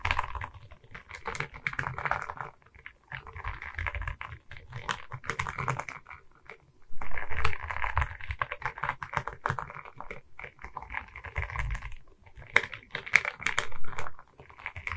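Long red nails tap across the resin-bead surface of a diamond painting on a wooden canvas board held at its sides. Quick, dry clicks come in dense bursts with a low, thumpy body and almost no ring. The bursts swell and ease off across the clip, with brief pauses between runs.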